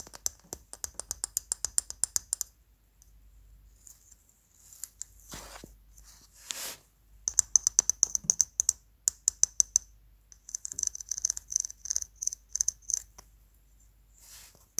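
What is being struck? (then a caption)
Small plastic pencil sharpener with metal blade. Fingernails and fingertips tap, scratch and turn a small, hollow, empty blue plastic hand pencil sharpener with a screwed-on metal blade. Quick, bright, dry clicks come in rapid runs, separated by softer scraping and rubbing swells as it is turned in the hands. The sound is thin and high with almost no low end, and each click stops instantly.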